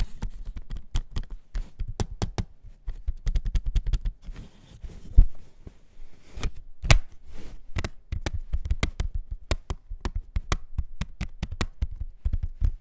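A plastic CD jewel case is tapped in quick, irregular bursts. Each tap is short and dry, with a soft low thump and a faint bright click, and a few land noticeably louder than the rest.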